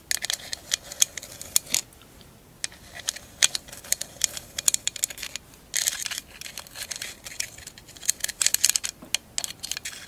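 A tall, hollow, empty candle holder covered in glass mosaic tiles is held on its side and tapped and scratched across the tiles with long acrylic nails. Many quick, bright clicks and taps come in irregular bursts, mixed with stretches of thin, high scratching. Each hit dies away almost at once, with no ring.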